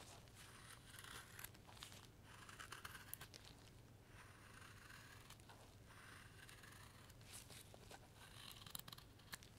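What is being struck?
Light wood block pared with a steel knife.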